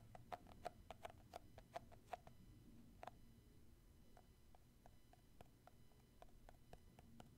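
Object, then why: Plastic cosmetic jar. Fingertips tap on the lid and side of a round plastic shea butter tub, a cosmetic jar held in one hand. The result is a quick, irregular series of short, dry clicks with a hollow tone near 700 Hz that die away almost instantly. The taps are louder in the first few seconds and softer later, over a quiet low rumble.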